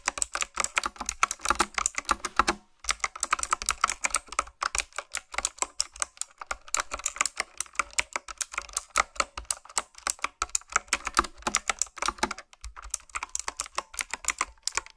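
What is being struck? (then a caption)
Plastic mechanical keyboard with round keycaps. Fingertips type steadily on a black retro typewriter-style plastic mechanical keyboard with round keys. Dense, bright, clicky keystrokes arrive in fast bursts with brief pauses around 2.7 and 12.5 seconds, each tap short and crisp with almost no ring.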